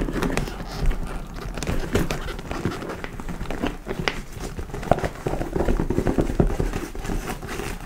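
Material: Leather.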